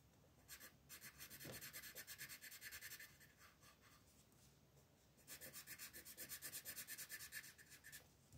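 An orange wooden colored pencil shades back and forth across a flat printed paper coloring book page lying on a table. Quick, bright, scratchy strokes come in two steady bursts, with a quieter pause of lighter rubbing between them.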